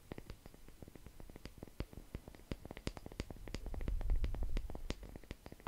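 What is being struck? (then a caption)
Wooden log slice coaster. A palm-sized, solid wooden log slice coaster, a round slice of natural wood with visible growth rings and a bark edge, is held in one hand and tapped and scratched close to the microphone with the fingertips and nails of the other. Quick, irregular dry taps with brief bright clicks sound over a soft scratching texture, while a low rumble swells through the middle and fades near the end.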